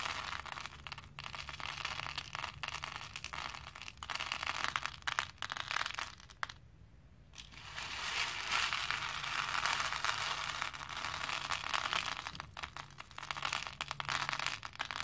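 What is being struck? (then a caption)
Small plastic beads in a plastic bowl. Both hands scoop handfuls of small plastic faux pearl beads and pour them back into a pink plastic bowl. The result is a dense, bright, continuous clatter and rattle of tiny beads that drops to near silence for about a second midway, then resumes just as busily.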